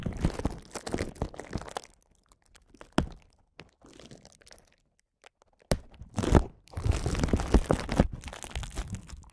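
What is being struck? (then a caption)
Plastic bubble wrap sheet. A light, thin sheet of clear plastic bubble wrap is held in both hands while fingertips squeeze, crinkle and press the bubbles. Dense crinkling bursts alternate with quiet gaps and a few sharp, short cracks, and a louder stretch of crinkling fills the last few seconds.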